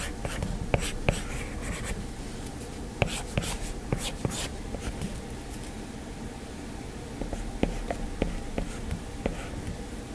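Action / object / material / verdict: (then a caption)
tap / plastic stylus on glass tablet screen / glass / none. A plastic stylus taps and scratches small strokes across the glass screen of an iPad while drawing a hand. Sharp, dry ticks, about 13 distinct taps, cut through a steady low hum. Short, bright scratching bursts cluster in the early seconds.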